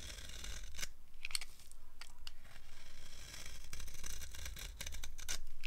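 A green-handled blade scrapes crunchy curls off a solid, dry green soap bar held in the palm. Repeated short, crisp scraping bursts with bright, high crackle sit over a steady low hum.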